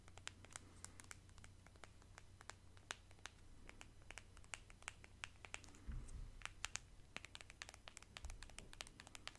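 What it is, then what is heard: Plastic squeeze tube. Long nails scratch along the body of a small pale pink plastic cosmetic squeeze tube held in both hands and tap on it. The result is a quiet, rapid run of sharp, bright clicks and scratchy rasps that stop instantly, over a steady low hum.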